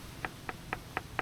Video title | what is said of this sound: How To Inspect A USED BOAT! DON'T Make These Mistakes!!! | it sounds solid. It's got a solid ping.